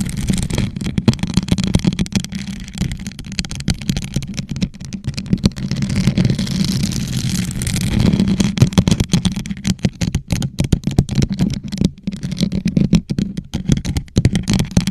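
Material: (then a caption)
Plastic. A hollow gold rhinestone-covered plastic tumbler, turned upside down over a microphone, is scratched and tapped with long nails of both hands. Dense, rapid clicks and rattly taps ride on a deep, hollow boom around 150 Hz, with a steadier stretch of scratching in the middle of the clip.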